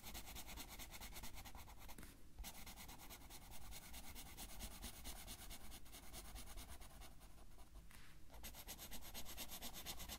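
A blue felt-tip marker colors in a flat Heartstopper coloring page of thin paper lying on a table and held down by the left hand, making repeated rubbing strokes. A steady, scratchy, bright rubbing texture runs over a low rumble, with brief lulls near 2.3 and 8.2 seconds before the strokes resume.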